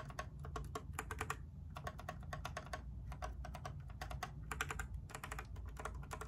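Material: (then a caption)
Plastic. A compact mechanical keyboard with blue, white and grey plastic keycaps in a grey case is held up in one hand while the long nails of the other hand tap and scratch across the keys. Quick runs of sharp, bright plastic clicks and clatter come in irregular bursts over a steady low rumble.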